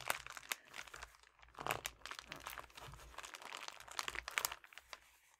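A flat, apparently empty red metallic foil padded bubble mailer with a paper shipping label is crinkled and pressed with fingertips and nails. The result is a steady stream of bright, crisp crinkling and crunching with short sharp snaps and quick-fading bursts, broken by brief quieter pauses.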